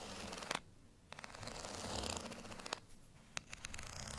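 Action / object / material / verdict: scrape / ridged plastic rice paddle / plastic / none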